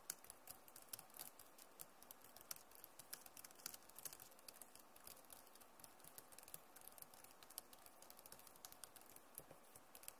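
Both hands type fast on a backlit Acer laptop keyboard with plastic keys. The result is a steady, quiet stream of rapid, bright clicks and taps with very short decay, over a faint soft hiss.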